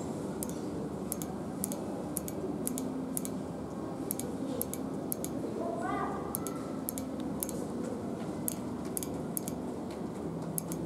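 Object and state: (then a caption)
Powder-coated metal handrail. Very long pointed nails, with rings on the fingers, tap and scratch along a long, round, hollow-looking metal tube handrail with a speckled black powder-coated textured finish in a shopping mall stairwell. A steady series of short, bright, clicky taps with almost no ring sits over a constant low, busy background murmur. A brief rising tone sweeps through the middle of the clip.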